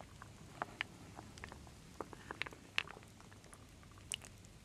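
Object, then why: Wooden beads and acorn pieces in a wooden bowl. A wooden spoon slowly stirs solid wooden beads and acorn pieces in a full wooden bowl. Sparse, dry, bright clicks and knocks stand out over a quiet, steady hiss. Each click dies away almost instantly.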